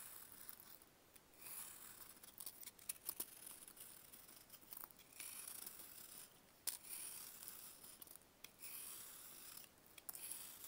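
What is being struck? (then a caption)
Dried baking soda block. A large, solid, pale grey-green block of dried baking soda is held in a bare hand and carved with a box-cutter blade into thick shavings. The quiet, bright, gritty scraping comes in repeated bursts with sharp crackly snaps and almost no low end.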